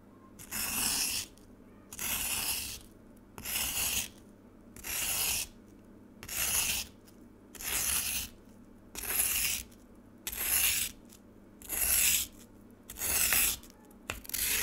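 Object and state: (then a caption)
Frozen lemonade being scraped. A metal spoon scrapes across frozen lemonade ice in a black plastic tray, piling up shaved ice. About ten steady, evenly spaced strokes produce bright, hissing scrapes, each lasting under a second, with a short pause between them.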